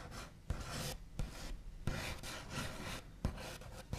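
The backs of fingernails scratch and tap rapidly on a wooden tabletop, producing bursts of dry, rasping wooden scraping. Several sharp, low knocks punctuate the scratching at irregular intervals.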